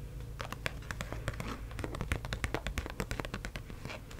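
Long acrylic nails tap and scratch the surface of a single US one-dollar paper bill that is being held up. Quick, irregular, crisp clicks and papery scratches sound over a soft, steady low rumble.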